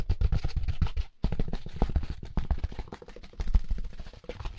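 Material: Styrofoam.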